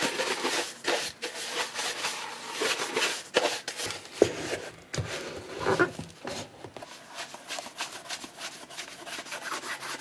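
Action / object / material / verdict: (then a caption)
scrape / cordovan leather boot / leather / none. A burgundy Alden shell cordovan leather chukka boot, hollow with a shoe tree inside and held in one hand, has its toe and vamp buffed with a cloth wrapped over the fingertips. Steady, dry rubbing swishes fill the clip with a bright, airy hiss. A few sharper squeaks and scuffs stand out as the cloth glides over the glossy leather.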